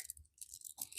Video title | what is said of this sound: We Weren't Sure What to Think About This Mystery Jewelry Bag.. | बस tin tin tin की आवाज़ आ रही है। झनझनाहट।